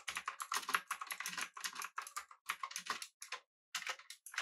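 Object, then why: Mechanical keyboard with metal body and round plastic keycaps. Fingertips of both hands type rapidly on a full-size, backlit, typewriter-style mechanical keyboard with blue switches, an aluminum body and round plastic keycaps. The result is a dense run of sharp, bright clicks with very short decay and almost no low end, broken by a brief pause before the typing resumes.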